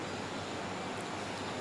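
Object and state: Nothing is struck.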